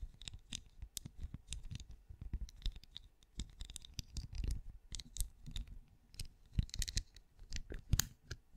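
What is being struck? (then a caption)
Ridged hollow plastic night lamp. Long glossy nails on both hands tap and scratch the stacked ridges of a glowing, cone-shaped, hollow night lamp with a translucent ridged plastic-like shell, held close. The result is a steady run of quick, dry, clicky taps and raspy scratches, each with a soft low thump and a bright edge, dying away almost instantly.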